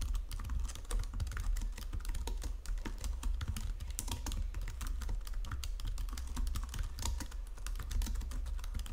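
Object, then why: Plastic computer keyboard. Both hands type with fingertips and long nails on a white plastic Logitech full-size keyboard resting on marble, producing continuous, rapid, overlapping key taps and clicks. Sharp bright clicks sit over a strong, steady low hum throughout.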